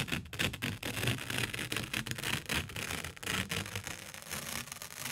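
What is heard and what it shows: A single thin white A4 printer paper sheet, held in both hands by the fingertips, is bent, twisted and shaken back and forth near the microphone. It makes a continuous, bright crinkling and rustling with rapid crackles and soft low flutters, rising and falling in loudness throughout.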